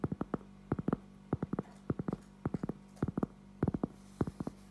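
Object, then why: Cork object. A cork object is tapped in quick bursts of soft, dull thuds, each short and muffled with little ring. Clusters of three or four taps repeat across the clip over a faint, steady low hum.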